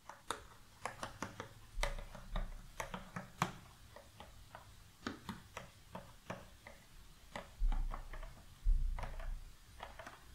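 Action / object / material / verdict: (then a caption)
tap / cardboard puzzle box full of loose jigsaw pieces / cardboard / none. Fingertips and long nails tap the rim and sides of an open, medium-size rectangular cardboard puzzle box full of loose cardboard jigsaw pieces, and the box is shaken. The taps come as short, dry, bright clicks at an uneven pace. Brief low rustling swells mark the moments the loose pieces shift inside.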